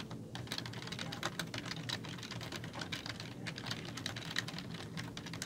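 Fingertips with long nails type quickly on a black plastic computer keyboard with hollow keys. The result is a dense, steady stream of short, bright plastic clicks and taps that die away almost instantly, over a constant low background rumble.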